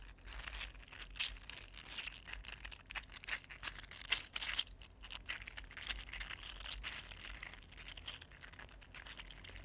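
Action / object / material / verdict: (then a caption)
scrape / 3D printed plastic articulated fidget slug / plastic / none. A small, mini-size green iridescent 3D printed plastic fidget slug with hollow, linked, ridged segments is held in both hands and bent and flexed with the fingertips. Its segments click and rub against each other in a dense, bright, crinkly stream of quick ticks and scrapes, with a few louder clicks standing out over a faint low rumble.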